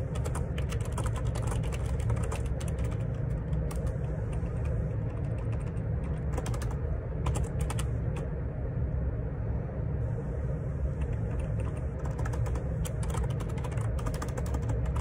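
Fingertips type at a moderate pace on a black Perixx Periboard 612 wireless Bluetooth dual ergonomic split keyboard with a hollow plastic housing and plastic keycaps. A steady stream of sharp, bright key clicks rides over a constant deep low hum that carries most of the sound's energy.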